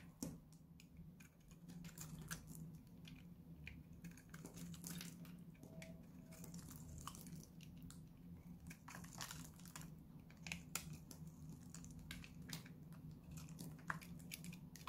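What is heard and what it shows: A small, solid bar of dried-out purple Lux soap is held in the hand and scraped and cut with a utility knife blade, producing crunchy flakes. Dense, quick crisp scrapes and crackles with bright clicky transients repeat throughout over a steady low hum.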